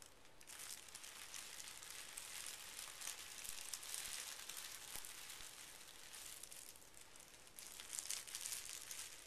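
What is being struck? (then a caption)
Sheet of tissue paper. A small folded stack of pink tissue paper resting on carpet is smoothed and pressed with fingertips and short nails. Soft, steady crinkling and rustling fills the clip, mostly high and bright, with brief louder crisp swells near the middle and end.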